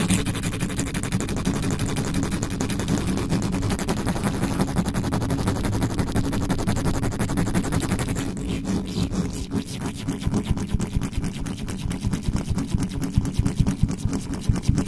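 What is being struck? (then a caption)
Metal mesh microphone grille. Fingertips and nails scratch and tap very fast on the hollow metal mesh head of a black condenser microphone, used without its cover. The result is a dense, rumbling stream of rapid crackling taps, heavy in low-frequency thump with a steady hum near 109 Hz. After about 8 seconds the bright upper hiss drops away, leaving sparser, sharper taps.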